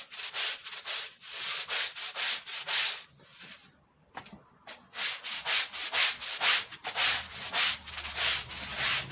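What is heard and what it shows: A long-handled push brush scrubs a dirty, foam-covered woven wool Persian rug, making steady, bright, hissing rub strokes at a brisk back-and-forth rhythm. The scrubbing stops briefly near the middle with a few soft scuffs, then resumes with strong, rasping strokes until the end.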